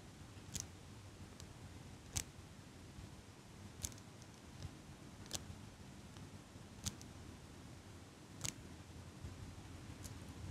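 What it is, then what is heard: Metal eyelash curler clicking. A small metal eyelash curler with a black rubber pad is held right at the microphone while fingers with long pink nails squeeze and release its handles. Crisp, bright metallic clicks repeat about every second and a half and die away almost instantly. A steady low rumble sits underneath.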